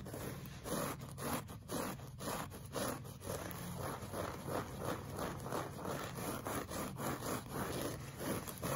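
Short fingernails scratch a solid, flat beige looped-pile woven rug, with a pink brush lying idle at its edge. Soft, dry scratching and rustling comes in repeated strokes roughly once a second over a steady low rumble.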